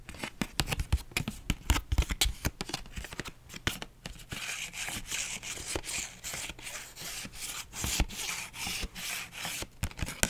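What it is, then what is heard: Paper envelope. A flat pink paper envelope is rubbed and scratched with long nails and fingertips. The first few seconds bring quick, sharp scratches and taps. These give way to steady, swishing strokes of bright papery friction over a faint low hum.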